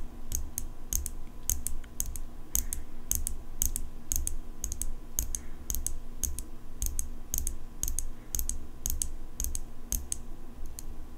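Long pink nails tap repeatedly on the steel blade of an open metal folding pocket knife. Each tap is a short, bright, high-pitched click that dies away almost instantly, arriving in quick uneven bursts over a steady low background rumble.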